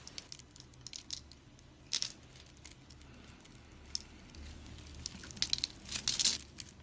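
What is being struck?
Bar of soap.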